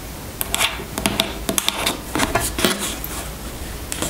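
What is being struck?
Plastic squeeze tube.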